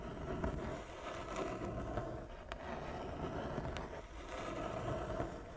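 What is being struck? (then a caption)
Wooden chess board. Long fingernails on both hands scratch slowly across a large, flat wooden chess board with inlaid squares. The result is a steady, soft, grainy rasp with a low rumble underneath and a few brief, bright ticks.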